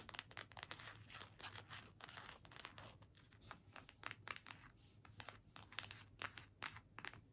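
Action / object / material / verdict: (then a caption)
scrape / card-stock gift tag / paper / none. Long nails scratch and tap a small, flat card-stock holiday gift tag with a string loop, held in both hands. The result is a quick run of crisp, bright, papery scratches and ticks with a dry, crinkly texture and almost no ring. A faint steady low hum sits underneath.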